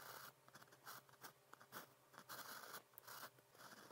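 A fine pen nib, on a blue plastic pen held in the fingers, is drawn in writing strokes across a cream grid paper sheet. Quiet, dry scratching comes in short bursts with a bright hiss and a mid-range rasp, and brief pauses fall between strokes.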